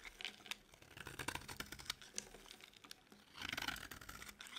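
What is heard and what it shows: A metal blade scrapes shavings off the edges of a solid, partly carved orange bar of dry soap. The result is a quiet series of dry, crisp scratching and crunching strokes, bright and with almost no low end or ring, with a denser, louder run of scraping near the end.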